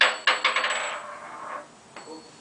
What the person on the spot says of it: it sounds pretty cool when you drop it. I mean, listen, does it have a nice ring to it?